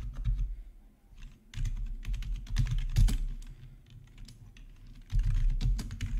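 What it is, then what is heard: Plastic membrane keyboard being typed on. Fingertips of both hands type on a full-size black plastic membrane gaming keyboard with RGB backlighting and a hollow housing, resting on a marble surface. Rapid, irregular taps come in bursts with brief lulls, each pairing a short bright click with a deep hollow thud that dies away quickly.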